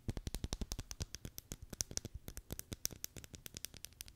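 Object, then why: Plastic packaging tape roll on a cardboard core. A full roll of clear Scotch plastic packaging tape on a cardboard core, hollow in the middle, is held in one hand close to the microphone and tapped and scratched on its outer surface with long decorated nails. About 36 quick, dry taps follow one another rapidly, each a short low thump with a bright clicky tick on top that dies away almost instantly, with faint scratchy rustles between them.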